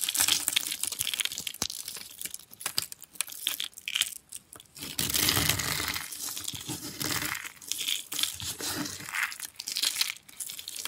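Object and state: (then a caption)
Dry, brittle soap curls crushed by hand. A rose of thin, dry, curled green soap is squeezed and crushed by hand into small flakes on a cloth, the solid brittle soap crumbled between the fingers. Dense, bright crackling and crunching fill the clip in bursts, swelling into a louder, sustained crush midway before breaking back into scattered crinkles.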